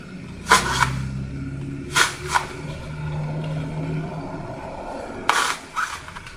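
A hand-sized solid block of green floral foam, painted like a Rubik's cube with colored squares and black grid lines and with some squares already dented and crushed, is held in both hands and pressed with orange-painted fingertips. Six short, bright, crunchy crushes with a crackly midrange around 1 kHz stand out in pairs. A low, steady hum sits underneath throughout.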